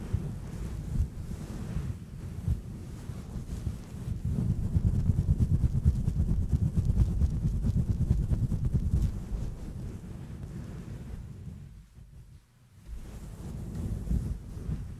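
Both hands scratch and rub a fluffy grey, hand-sized synthetic-fur microphone windscreen with long nails and fingertips. The result is a dense, muffled, low rumbling rustle like wind or surf, heaviest in the middle of the clip. It dips almost to silence for a moment near the end, then resumes.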